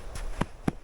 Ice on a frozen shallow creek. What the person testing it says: the ice is pretty thin. Listen, it sounds hollow, and it hasn't been cold for that long.